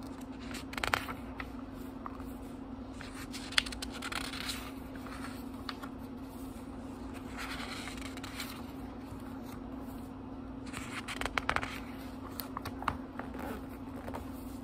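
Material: Paper.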